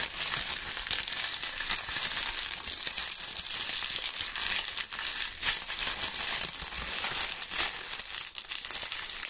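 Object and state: Dry autumn leaves.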